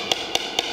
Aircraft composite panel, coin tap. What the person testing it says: 굉장히 본딩 상태가 좋은 편이에요 / 이렇게 맑게 올려야 되는데